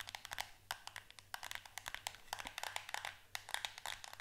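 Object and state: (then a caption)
Cardboard soap box. Long acrylic nails tap and scratch a small green-and-white printed cardboard box for solid shower soap held in the hand. The result is a quick run of crisp, bright, dry ticks and scrapes that fade almost instantly, over a faint steady low hum.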